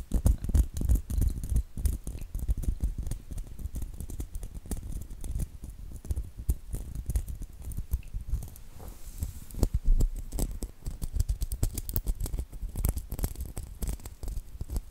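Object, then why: Plastic bead hair clip on metal base. Fingernails scratch and tap across a small hair clip covered in rows of small faux pearl beads on a metal clip base. The result is a dense, continuous patter of quick, dry clicks and rustling scratches, with very short ticks and a bright edge over a soft low thump, steady for the whole clip.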